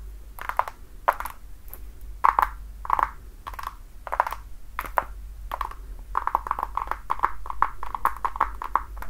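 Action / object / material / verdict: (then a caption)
tap / patent leather platform shoe tapped with fingernails / patent leather / none. Long dark nails tap and scratch the toe and platform of a worn, red glossy patent-leather platform high heel with a thick sole and block heel. Short, dry clicks with a hollow ring around 1 kHz come in uneven bursts, then speed up into a quicker run of taps toward the end. A faint low hum sits underneath throughout.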